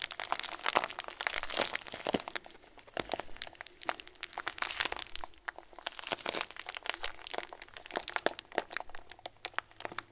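Thumbs press and squeeze a clear plastic bag full of tiny white foam beads, producing dense, bright crinkling broken by rapid crisp crackles and clicks. The texture runs throughout, swelling into louder bursts near the start and midway before settling into quieter, scattered crackles.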